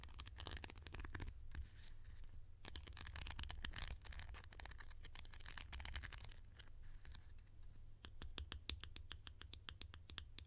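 A hollow, bright green plastic lid held in the hand is tapped and scratched with long nails. Quick, sharp, bright clicks and fast scratchy patters overlap the scraping, over a steady low rumble.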